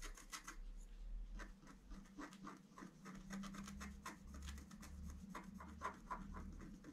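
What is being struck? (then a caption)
Black-coated scratch-art paper and wooden stylus. A wooden stylus scratches fine strokes along a drawn antler on a flat scratch-art card of black coated paper. Short, dry scratching strokes follow one another in a quick, irregular rhythm over a steady low hum.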